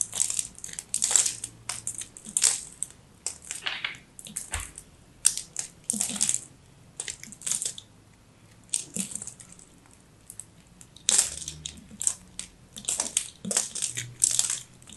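A small, solid, dry, crumbly teal soap ball is held and sliced or scraped with a craft knife. Each pass gives a short, dry, crunchy crackle that is mostly high and bright, with almost no low end and no ring. The crackles come in irregular bursts separated by brief quiet gaps.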